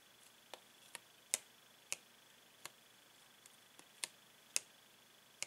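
A clear, hollow plastic blister pack holding paint pens is tapped with a metal pen while a gloved hand holds its card. About eight sharp, bright clicks ring out at uneven intervals, with a few fainter taps between them. Each click is very short, with almost no low end and a faint steady high tone underneath.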